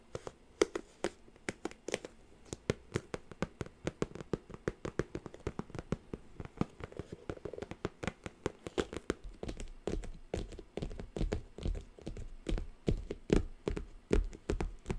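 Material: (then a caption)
Cardboard. Long nails tap and scratch the top and folds of a hollow, triangular orange glossy cardboard gift box with a pleated rosette decoration. Quick, irregular dry taps give a hollow, low knock that dies away almost at once, with soft scratching between them. The tapping runs continuously and picks up in density and weight toward the end.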